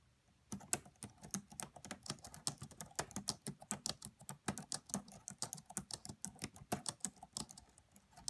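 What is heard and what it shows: Long nails and fingertips type on the black plastic keys of a red laptop keyboard. After a brief silence, a quiet, steady run of roughly forty rapid, dry clicks and taps follows, each bright and short with almost no ring and a soft low thump beneath.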